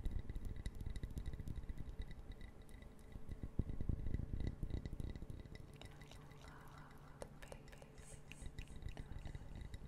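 Long fingernails tap quickly and click the pieces of a small brown wooden puzzle box made of interlocking pieces, held in the fingers. The rapid, dry, low-heavy taps come in a steady patter that eases into softer clicking midway before picking up again toward the end.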